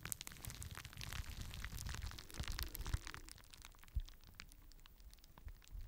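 A clear plastic bubble wrap sheet held in both hands, with fingers popping the bubbles and crinkling the sheet close to the microphone. A dense run of sharp, bright pops and crackles sits over a low rumbling body, with a few louder thuds standing out near the middle and toward the end.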